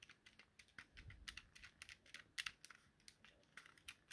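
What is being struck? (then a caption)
Small plastic handheld game controller. A thumb presses and clicks the X, Y and A buttons and the stick on a small, hollow, yellow plastic Nintendo Joy-Con controller. About 25 quiet, bright, dry plastic clicks come in a quick, uneven run, each dying away almost at once, with little low end.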